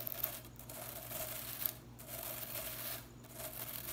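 Long nails rake and scratch through the plastic bristles of a blue synthetic broom head held low, producing a dry, bright scratching hiss. The scratching comes in long swells separated by brief pauses, over a faint steady low hum.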